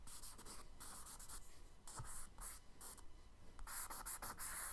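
A charcoal stick is scratched across a kraft paper page in a spiral sketchbook in quick horizontal strokes to draw ripples. It makes soft, bright, scratchy bursts of rasping over a low steady background hum, with the strokes growing denser and louder toward the end.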